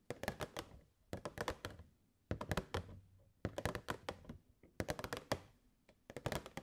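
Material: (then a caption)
Plastic. Long nails tap the front and sides of a hollow clear plastic box with purple fairy lights inside, held in both hands. The taps come in six quick bursts of short, dull, hollow clicks and thunks with a low body, and each dies away almost instantly.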